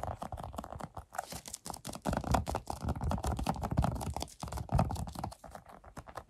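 A large, soft, hand-sized rubber stress ball with red and white mesh is squeezed while fingertips and nails scratch and press its surface. The result is a fast, dense run of short, dry scratching and tapping sounds with a heavy low-end thump and a muted, soft character.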